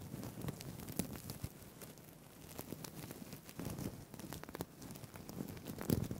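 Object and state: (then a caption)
Plastic sequin fabric tie. Fingertips and nails scratch and rub the plastic sequins of a green-blue sequined fabric tie held close to the mic. The result is a quiet, steady, dense crackle and rustle with a soft low-end body and brief louder clicks near the start and end.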